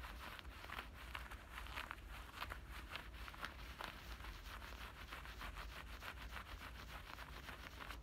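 Fingertips and nails rub and scratch inside and along both front pockets of black denim shorts. The sound is a quiet, steady fabric scratching with rapid short bright bursts over a low rumble.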